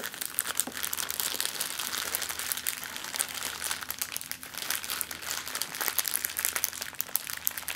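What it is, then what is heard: Crumpled plastic bag. An empty, thin, clear plastic zip-lock bag is scrunched into a ball and crumpled in the hands, making continuous, dense, bright crinkling and crackling with many sharp snaps. A faint, steady low hum sits underneath.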